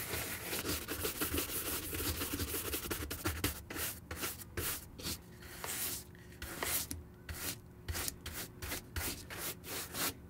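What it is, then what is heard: Leather sneaker being brushed. A white leather Nike Air Force 1 Mid high-top shoe, hollow, is brushed dry with a wooden-backed horsehair brush to dust it off. Quick, dense bristly swishes come first, then thin into separate scratchy strokes with short pauses between them. Each stroke gives a bright, airy hiss over a soft, hollow low rumble from the shoe.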